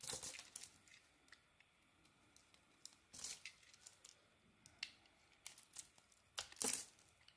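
A solid oval Elkos soap bar with a yellow-green coating and a white core, held in the hand, is shaved with a metal blade, producing soft flakes. It makes a series of quiet, bright, crisp scraping and crackling strokes, with short clustered bursts between near-silent gaps.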